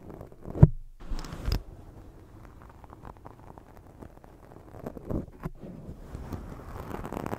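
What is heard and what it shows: Long nails scratch a black foam microphone windscreen, then fingers rub and grip it. The result is muffled, low rumbling scratches and rubbing, with a sharp bump near the start and a steady soft texture after.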